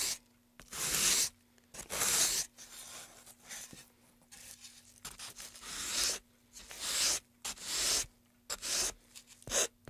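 A gloved hand rubs sandpaper along the groove and surface of a long, solid, light-wood carved pine tray. The result is bursts of bright, hissing scratching with short quiet gaps between strokes. The strokes come at an uneven pace.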